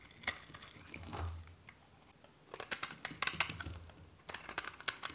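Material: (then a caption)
Soap. A solid white bar of varnished dry soap, held in one hand, is cut and scraped with a metal knife blade, shaving off flakes. Soft scraping gives way to bursts of crisp, bright crackling snaps and clicks as the blade bites through, with a faint low hum beneath.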